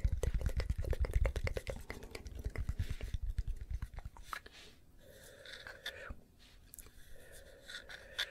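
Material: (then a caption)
Wood. A round solid-wood log-slice coaster with visible growth rings, held in the hand, is tapped and scratched on its ringed face with long nails. Rapid, dull, low-pitched taps come in quick uneven bursts for about four seconds. They give way to softer, quieter scratching with a faint airy hiss.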